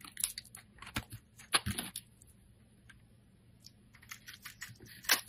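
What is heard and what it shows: A metal blade scrapes across a hand-held solid green soap bar, shaving off strips with crisp, bright crunching and scratching bursts. The cuts come in quick, uneven clusters, fall to near silence in the middle, then pick up again and end with a sharp, louder scrape.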